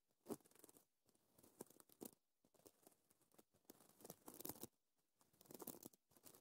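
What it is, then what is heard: Sequin fabric. Short, dark green-painted nails scratch and brush across a flat sheet of iridescent blue-purple reversible plastic sequins sewn on fabric, flipping the sequins over. The result is quiet, dry, crinkly scratching and clicking in uneven bursts, separated by brief silent pauses.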